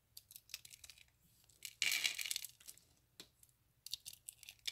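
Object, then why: Curls of bar soap. Fingertips squeeze and snap single thin, hollow, ring-shaped curls of dried bar soap resting on a patterned mat, crushing them. Short, bright, crisp snaps and crackles come in scattered bursts, with one louder, longer crunch near the middle. The brittle curls break apart.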